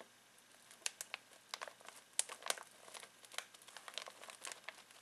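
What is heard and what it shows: Fingertips scratch and crinkle a full foil-plastic snack bag of pistachios. Quiet, bright crackles and rustles come in an irregular run of short, sharp bursts with no low end. Each crinkle stops almost instantly.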